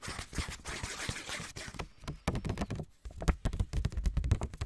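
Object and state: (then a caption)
Paper index card pad. A small pink lined paper index card pad, held in both hands, is tapped with fingertips and nails. For the first two seconds, soft low thuds mix with a brighter papery rustle. After brief pauses, quicker and sharper dull taps follow, with little ring.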